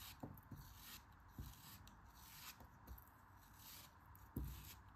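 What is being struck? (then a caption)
Kinetic sand block cut with a metal knife. A solid pink kinetic sand dome, held in the hand, has its surface sliced and scraped with a metal craft knife. Soft, muffled low thumps mark the cuts, with a faint gritty rasp of the blade dragging through the sand between them.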